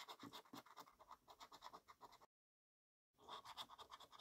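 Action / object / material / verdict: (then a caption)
scrape / paper scratchcard with latex coating, scratched with a coin / paper / none. A coin scratches down a column of latex-covered numbers on a yellow paper scratchcard, making a quick run of rasping strokes with a bright, papery hiss. The scratching stops for almost a second of silence, then picks up again at the same rapid pace.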